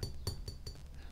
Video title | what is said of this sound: Help you avoid imitation cloisonné! Don't buy fakes! | when i tapped down here it sounded you know that sounds like ceramic